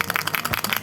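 A plastic egg used as a Montessori sound box, filled with a bottle cap and closed, is shaken. The cap rattles inside as a quick series of sharp, bright plastic clicks with little low end.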